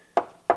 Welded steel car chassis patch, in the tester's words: oh lovely it's solid let me hit it with my same Hammer that went through last time that ain't going anywhere